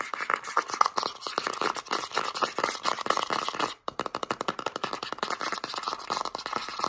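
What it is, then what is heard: Plastic petroleum jelly jar scratched. Long nails scratch fast along the label and lid rim of a full plastic Vaseline petroleum jelly jar with a blue plastic lid, tilted in the hands. A dense run of quick, dry scrapes and ticks centers around 1.2 kHz with bright edges and no low end. The scratching pauses briefly near the four-second mark, then resumes.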